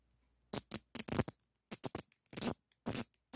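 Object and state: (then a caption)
Steel adjustable wrench. A black-handled screwdriver with a metal shaft scratches and taps the jaw of a solid chrome steel adjustable wrench held in one hand. The result is a quick series of short, bright, rasping scrapes and taps separated by silence, each dying away almost at once.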